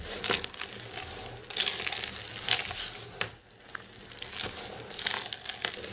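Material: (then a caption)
Soap. Hands with long silver nails dig into, squeeze and pat a mound of dry green soap shavings. The result is dry, bright crunching and crinkling in a quick series of short bursts, with a steady fine rustle between them and almost no low end.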